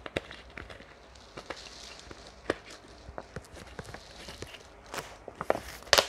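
Long painted nails tap and scratch the red cap and body of a large, clear, hollow PET water bottle that is partly filled with water, while squeezing the bottle makes it crinkle. Quiet, sharp clicks and bright, scratchy crackles come at an uneven pace and grow louder and denser near the end.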